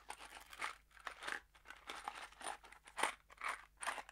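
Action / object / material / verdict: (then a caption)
shake / small cardboard box holding screws / cardboard / none. A small kraft cardboard box holding screws is held between the fingers and shaken. It makes quiet, crunchy rattling bursts in a steady rhythm, with bright papery crinkle over the dull clatter of the screws.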